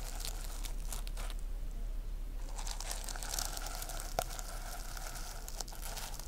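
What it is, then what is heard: Sequin-covered notebook. Long nails brush up and down across the plastic sequins of a rainbow reversible sequin-covered notebook. The result is a continuous, bright, crinkly scratching with rapid rustling strokes and one sharper click partway through, all over a steady low hum.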